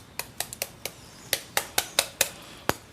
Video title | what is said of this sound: Delia through the decades. Episode 1 | It's got to be crisp.